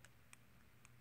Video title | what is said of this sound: Lamy Studio - It's Classy | if you wiggle it it will wiggle but just shaking it it's not going to wiggle and rattle around